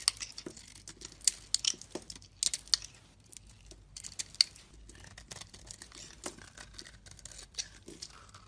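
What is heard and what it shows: A hand-held solid purple soap bar is shaved continuously with a metal utility-knife blade, producing flakes and curls. Dry, bright scraping and crisp crackling strokes come in quick, uneven bursts, with almost no low end and no ringing after each cut.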